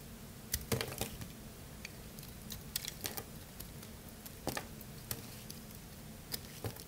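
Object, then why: Bar of soap cut with a blade. A solid dry blue bar soap held in hand is cut and scraped repeatedly with a craft-knife blade, and chunks fall off. Short, bright, crisp crunching clicks sound irregularly over a steady low hum, each dying away almost at once.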